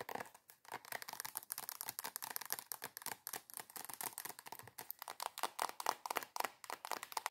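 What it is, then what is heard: Plastic cream tube. Long acrylic nails rapidly tap and scratch a soft plastic squeeze tube of body cream. The result is a fast, continuous stream of crisp clicks and scratchy rustles: bright and dry, with no low end and no ring after each touch.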